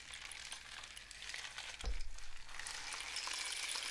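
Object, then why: Cardboard rain stick tube with loose filling. A long, hollow cardboard rain stick, painted with suns and dots and wrapped in mesh at one end, is held in both hands and tilted and shaken so the loose filling inside cascades through it. The result is a dense, bright, continuous patter like falling rain, with a brief low thump near the middle before the trickling swells again.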